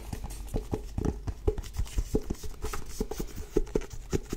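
Long nails tap and scratch the cover of a solid, medium blue-grey cloth-bound hardcover book. About twenty quick, dull taps fall in an uneven rhythm, each dying away almost at once. The sound is low and muffled, with faint scratchy texture between them.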